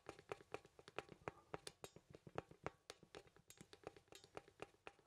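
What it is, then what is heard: Wooden artist mannequin. Fingertips tap a small, solid wooden poseable artist mannequin and move its limbs, producing about thirty quick, dry ticking clicks from its joints. The clicks are quiet, with a woody midrange tone and brief bright edges, and each dies away almost instantly.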